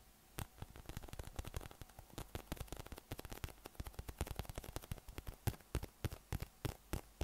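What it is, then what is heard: PVC spiky massage ball. A yellow, hollow, inflated PVC massage ball with raised nubs, about 20 cm across and held in the hand, is tapped and rubbed with the fingertips and thumb. Dozens of short, dry, irregular taps land as soft low thumps with bright clicky edges that stop at once, over a faint hiss of rubbing.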